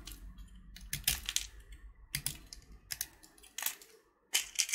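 A small, solid purple sugar-shelled chocolate button (Gems candy), held in the fingertips, is scraped with a metal utility knife blade, and flakes of the shell come off. Short, dry bursts of bright, crisp scratching crackle in quick clusters with quiet gaps between them, with almost no low end.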